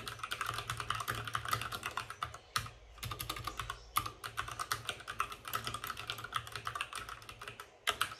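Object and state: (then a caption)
Plastic mechanical keyboard. Fingertips of both hands type fast on a white RGB-backlit mechanical keyboard with plastic keycaps and a hollow plastic case. Rapid, crisp clicks and clacks ring with a bright edge around 1.2 kHz. Brief pauses come near 2.7 seconds and just before 8 seconds.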